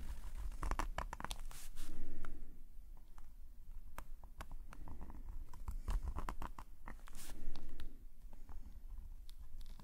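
A metal calligraphy nib pen scratches dense hatching strokes in ink on a black paper sketchbook page lying flat. Quick, irregular scratchy ticks and short rasps come in rapid bursts over a low, soft rumble. Two louder, swelling scratching passages rise near 2 seconds and 7.5 seconds.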